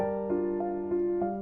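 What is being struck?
Nothing is struck.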